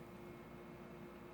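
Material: Nothing is struck.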